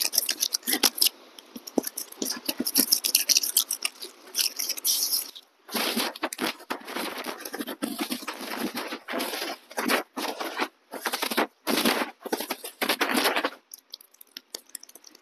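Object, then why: Tree trunk bark. A fingertip scratches and rubs the rough, furrowed bark of a large, solid standing tree trunk right beside a small fuzzy clip-on mic held against the trunk. It makes a dense, bright, crackling scrape with no low end: continuous scratching for about five seconds, then loud rubbing bursts split by brief silences. It ends in sparse, quiet ticks, with a stream possibly adding faint water noise in the background.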